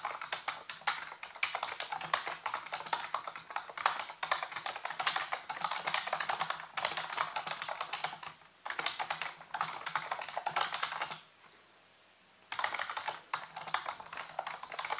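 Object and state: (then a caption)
Plastic computer keyboard being typed on. Fingertips type rapidly on a full-size black plastic computer keyboard with hollow keys, set on a white base. Dense, bright clicking taps run continuously with a brief pause near 8.5 seconds and a near-silent gap around 11 to 12.5 seconds before the typing resumes. A faint low hum sits beneath the clicks.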